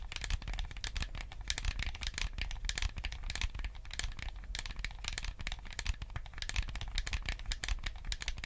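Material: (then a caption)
Plastic. Fingertips tap and scratch the hollow, hand-sized shell of a white plastic GameCube controller and click its buttons. The result is a steady stream of quick, dry clicks and crisp bright scratches over a low, soft rumble. Each sound stops almost at once, leaving a close, dense patter for the whole clip.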